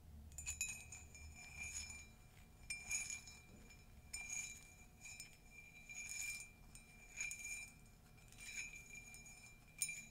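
Long nails tap and scratch inside and along the rim of a hollow, empty, flared ceramic mug with a pastel print and a yellow-glazed inside. Irregular bursts of bright, glassy clinks ring briefly around 2.4 kHz, mixed with faint scratching, over a quiet background.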